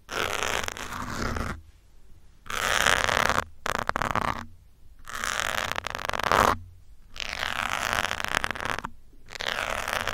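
A metal pin held from above scratches and pokes the top of a grey foam windscreen on a black microphone. The result is loud, bright, crackly rustling in bursts of about a second or more, separated by short near-silent gaps.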